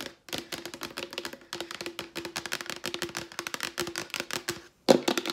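A hollow plastic Clorox disinfecting wipes canister is tapped and scratched with long nails, giving about 30 quick, dry, clicky taps in rapid bursts over a faint steady tone. After a brief pause near the end, a louder, sharper flurry of taps closes the clip.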